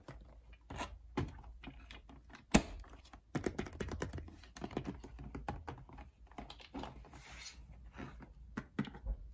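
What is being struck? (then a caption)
Cardboard toy box. Fingertips and nails tap and scratch across the lid of a flat, printed, medium-size cardboard toy-set box, hollow and holding the toy set, while hands grip its edge. Soft, dull, hollow taps and dry scratching rustles come in quick, irregular bursts, with one sharper knock near the start. The sound is muffled and low-heavy, with each tap dying away almost at once.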